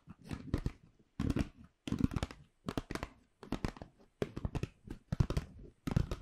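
A hollow white paper gift bag, held flat in both hands, is scratched and crinkled with long nails close to the mic. The result is a run of dry, crackling bursts of crinkle and scratch, full in the low end with bright rustling edges and short silent gaps between them.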